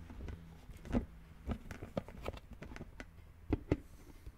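Fingertips of both hands tap and scratch a hollow green plastic brain-shaped lid sitting on a red plastic skull container. Soft, dull, short taps with little high end sound over a faint continuous scratching, with a pair of louder knocks near the end.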